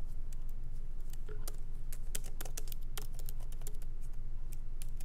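Both hands type lightly with their fingertips on the plastic keycaps of a MacBook Pro laptop's keyboard, set in an aluminum body, with the laptop resting on a wooden desk. Quick, irregular, bright clicks with very short decay sit over a steady low hum.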